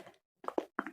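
An original Simple Moisturizing Facial Wash plastic bottle filled with thick liquid cleanser is shaken to show that its contents are thicker than a fake's. It gives short, dull, muffled plops and sloshes in the low midrange, separated by brief silences.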